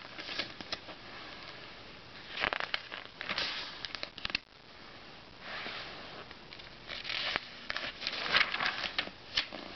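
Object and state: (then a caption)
Glossy paper magazine pages. Fingertips rub the edges of an open glossy paper Self magazine and flip its thin pages over. The result is soft, airy rustling broken by bright, crisp paper flutters and sharp little ticks. Each flip swells into a brief rush of hiss that dies away almost at once.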